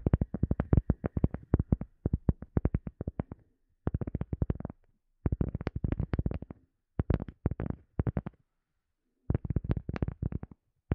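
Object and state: Cork coaster.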